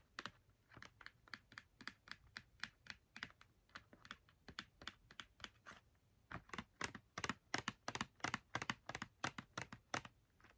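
Long red nails tap quickly on the front face of a small, hollow Crayola cardboard box filled with markers, held in one hand. About 38 short, dry, clicky taps come in an uneven rhythm with a brief pause near the middle. The second half is louder and denser, and each tap dies away almost instantly.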